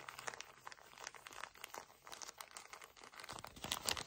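A pocket pack of paper tissues in a plastic wrapper is squeezed and crumpled with fingertips. The result is quiet, dense, bright crinkling made of many quick crackles and snaps with almost no low end, growing a little louder and sharper toward the end.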